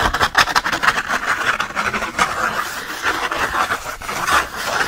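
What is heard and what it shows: A single thick, textured sheet of cotton watercolor paper is held in one hand while the fingernails of the other hand scratch quickly and hard across its rough surface. The result is a dense, continuous scratching rasp, strongest in the upper midrange with a bright hiss above, swelling and easing with each stroke and with almost no low end.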